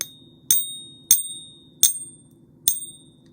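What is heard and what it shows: A silver coin balanced on a hot pink Pocket Pinger is tapped four times as a non-destructive ring test. Each tap gives a bright, high-pitched ring that fades over about half a second. The clean, sustained ring is the expected sound of silver.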